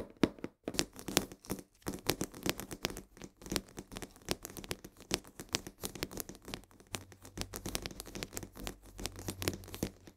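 Long nails rapidly scratch and tap the sides of a full 1 kg cardboard box of coarse salt held upright. The result is a quick, dry run of papery clicks and crinkly scrapes with bright edges, each dying away almost instantly. A faint low hum sits underneath in the second half.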